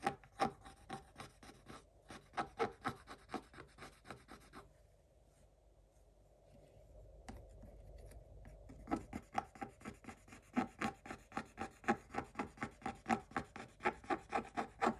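A wooden stick held in a fist scrapes the black coating of a flat, coated scratch-art paper page in short strokes, making quick, dry scratchy rasps about four per second. Midway the strokes stop for several seconds, leaving a softer, steady rubbing hiss, before the rapid scraping resumes.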